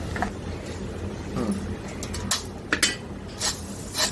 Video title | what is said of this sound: 3 प्रकारचे नमकीन कसे बनवायचे ते शिका -- 3 types of namkin in one video -- | आता हे मूग पण आपले तळून झालेले बघा एकदम कुरकुरीत झालेले